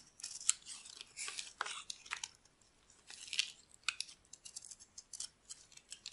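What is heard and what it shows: A solid, dry, oval yellow bar of soap held in the palm is carved with a metal blade into crumbly chunks. The cuts make crisp, bright, dry scratching and crackling, with short uneven bursts separated by brief quiet gaps and no low-end body.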